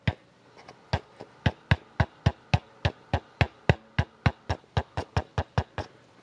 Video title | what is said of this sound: Fender Silver Face Twin Reverb - Part 4 | if you tap on it there's like a little rattle there